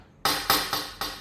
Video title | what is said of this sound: 两万多网购的黄金手镯让小闫测真假，火烧后居然变色，这是假货【小闫打铁镯】 | 空心的它不是这种声音，因为它里面是空的，它那种声音比较轻。但是这个是比较尖的，就说明它是实心的。